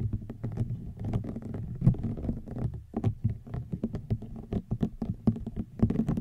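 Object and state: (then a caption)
Rattan wicker basket. Fingernails tap and scratch across the weave of a hollow woven rattan wicker basket. A rapid, uneven run of soft, dull taps sits low and muffled, mixed with a faint rustling scrape. Each tap dies away almost instantly.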